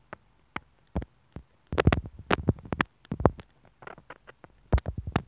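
A sewing needle tip taps and scratches at the mic hole of a small white plastic inline microphone and remote on an earphone cable, its hollow housing lying on a wooden table. Short, dry, close-up clicks and scratchy bursts land with heavy low thumps, spaced apart at first and then crowding together in quick flurries. Each sound dies away almost instantly.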